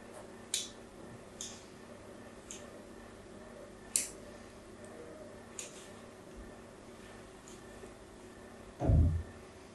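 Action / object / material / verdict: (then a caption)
scrape / bar of soap / soap / none. A blade scratches crosshatch lines into the corner of a solid pink soap bar held in the hand. Six short, bright scraping strokes rise over a quiet, low background hum. The final, longer stroke is the loudest and heaviest, ending with a deeper, fuller burst.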